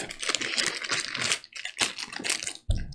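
The large metal game coins from a board game's retail edition clink and rattle as they are dropped and handled. A dense run of short, bright metallic ticks fades into a brief gap, and a final louder clink with a low thud ends the clip.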